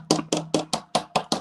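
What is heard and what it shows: A plastic cup is tapped seven times in quick succession, giving short, dull knocks with a brief low-mid tone that dies away almost at once. The flat, non-ringing sound marks it as plastic rather than glass.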